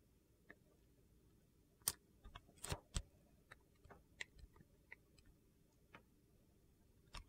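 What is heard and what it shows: A metal blade peels thin, curling shavings off a solid, translucent purple glycerin soap bar held in the hand. About ten short, crisp scraping clicks sound at irregular intervals over a quiet, low background hiss.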